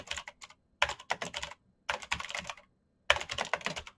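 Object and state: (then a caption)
Plastic mechanical keyboard being typed on. Bare fingertips type quickly across a full-size black plastic mechanical keyboard with clicky green switches and an RGB backlight, its hollow case resting on a desk mat. Four quick bursts of sharp, bright clicks and clacks come through, with little low end and very short decay between strokes.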